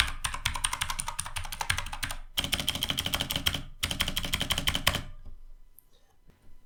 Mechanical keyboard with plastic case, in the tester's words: terdengar lebih nyaring karena memang bagian dalam dari casingnya ini kopong jadi emang suaranya terdengar kopong